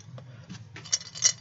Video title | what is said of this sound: Showing Off My Artwork 2 | You can barely hear, but there's like 2 little beads in here that make it make the sound.